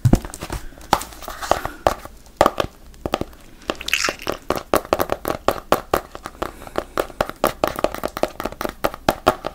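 A small paperback FGTeeV comic book with a glossy paper cover, held in one hand, is handled by the fingers. Its pages and cover give dry crinkling and rustling mixed with a rapid run of short, crisp taps that keep up steadily through the clip.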